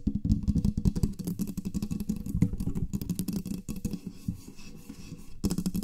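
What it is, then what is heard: Metal microphone body. Long nails quickly tap and scratch the sides of a black studio microphone's metal body. The result is a dense, rapid stream of short, dry, thumping taps and scrapes, heavy in low tones around 170 Hz with little high brightness.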